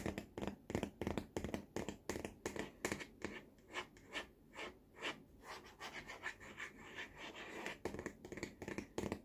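Fingertips and nails tap and scratch the curved side of the hollow, lime-green molded plastic tray rim of a baby walker. Quick, irregular taps give short, dry, hollow knocks with a low resonance near 200 Hz, mixed with raspy scratching strokes. The bursts come about three per second, quieter in the middle and denser at the start and end.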